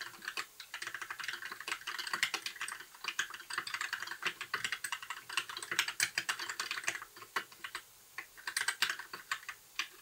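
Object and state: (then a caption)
Plastic mechanical keyboard. A compact white 60% mechanical keyboard with plastic keycaps and RGB backlight is typed on with the fingertips of both hands in continuous key presses. The result is a steady stream of short, bright plastic clicks and clacks centered around 2.3 kHz, with brief pauses near the eight-second mark.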